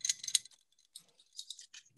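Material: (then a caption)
Steel. A multi-tool hammer that stores screwdriver bits in its head is shaken, and its loose bits rattle with bright, high-pitched clicking and jangling in quick bursts. The rattle sets it apart from a similar hammer that stays quiet when shaken.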